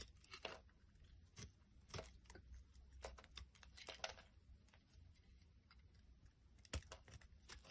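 A solid green striped soap bar held in the hands is scraped with a small black blade, and green curls fall away. Quiet, dry scraping and crisp tearing-like crackles come in uneven bursts, with a few sharper bright snaps standing out over a low, steady background rumble.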